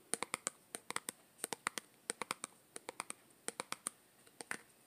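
Long green-painted nails tap and scratch the printed side of a small, hollow, closed yellow plastic Play-Doh tub with an orange plastic lid, held in the hand. About 25 sharp, bright plastic clicks come in an uneven rhythm, each dying away almost instantly. The sound is thin and high, with almost no low end.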